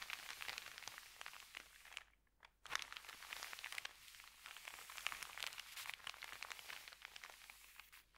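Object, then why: Thin paper bag. Fingertips rub and smooth an empty, wrinkled white paper sandwich bag lying flat on a carpet. The result is dense, bright crinkling and crackling with almost no low end, broken by a short near-silent pause a couple of seconds in before the rustling resumes.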